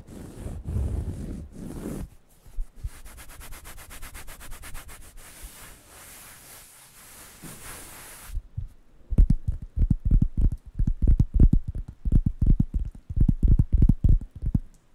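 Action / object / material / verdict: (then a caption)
scrape / thin cork coaster / cork / none. A round, flat, light-brown cork coaster, thin and solid, is scratched and rubbed with fingernails and fingertips close to the microphones. Soft, bright scratching and rasping strokes come first, then give way to a denser run of low, thumping rubbing strokes in quick succession.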